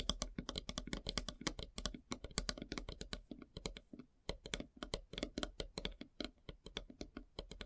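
Long silver nails tap quickly across a large, solid, flat slice of light-colored wood with its bark edge still on. The result is a rapid, uneven patter of dry, clicky taps, each with a bright click over a low knock and almost no ring, broken by a brief pause about halfway through.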